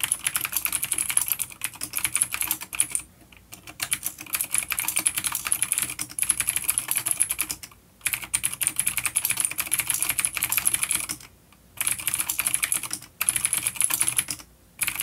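Fingertips of both hands type on a full-size dark plastic vintage mechanical keyboard with clicky blue switches and grey keycaps, resting on a wooden desk. Fast, bright, crisp clicks run in steady bursts, broken by several brief pauses.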